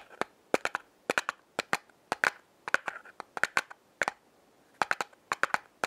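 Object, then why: Small cardboard matchbox. A small, closed, yellow printed cardboard matchbox of Lion Safety Matches is held in the hand and tapped on its top face with long painted fingernails. The result is a quick, irregular run of sharp, dry clicks with a light papery knock and almost no ring, spread across about six seconds, with no low end.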